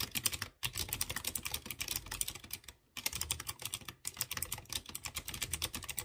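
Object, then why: Typewriter-style mechanical keyboard with round metal-rimmed keycaps. Fingertips type rapidly on a typewriter-style mechanical keyboard with chrome-rimmed round keycaps on exposed blue switches. A dense run of bright, crisp clicks, each dying away almost instantly, is broken by brief pauses near 0.6, 2.8 and 4 seconds before the typing resumes.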